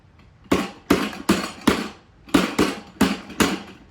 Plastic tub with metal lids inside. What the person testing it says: Does that sound hollow anymore? Now it sounds full, right?